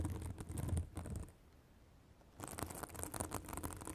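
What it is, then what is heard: Synthetic bath sponge. Long acrylic nails scratch a white, fibrous synthetic bath sponge held above a microphone, making dense, rustling scratches with a low rumble and bright crackle. The scratching stops for about a second in the middle, leaving quiet hiss, then starts again just as busily.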